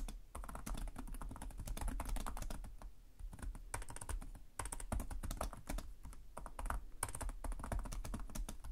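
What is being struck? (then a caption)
Plastic laptop keyboard keys. Fingertips of both hands type continuously on the plastic chiclet keys of a black laptop keyboard. The result is a steady stream of short, dry clicks with a soft low thud under each press and bright tapping on top, easing briefly around the 3- and 4.5-second marks before resuming.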